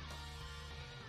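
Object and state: Nothing is struck.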